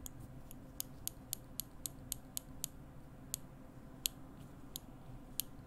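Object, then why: Small steel tweezers. Small steel tweezers, held in one hand by the fingertips beside the microphone, are pinched together and released so the metal tips click on metal. About thirteen sharp, bright clicks ring out at an uneven pace, each dying away almost at once. A steady low rumble sits underneath them.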